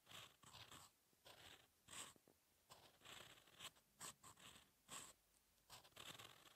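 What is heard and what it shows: A steel fountain pen nib scratches across a thin, solid lined paper sheet lying flat on a desk, writing song lyrics in continuous handwriting strokes. Quiet, bright, dry scratching comes in short, irregular bursts of strokes, separated by brief pauses as the pen lifts.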